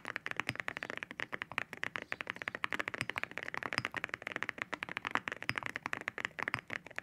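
Fingertips type on a white mechanical keyboard fitted with ceramic keycaps, producing a fast, steady stream of short, bright clicks and clacks. Each keystroke is sharp and dry with almost no ring, centered in the upper mids with little low end.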